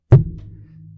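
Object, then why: Microphone. A microphone is flicked with a finger, giving a short, deep thunk. A low hum lingers and slowly fades after the hit.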